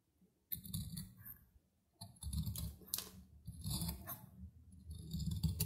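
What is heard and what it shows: A metal knife blade scrapes and cuts crumbly shavings off a small, solid, dry soap block held in the fingers. Dry, crackly scraping and crunching comes in irregular bursts with a brief pause, carrying low rough body and bright, gritty flecks.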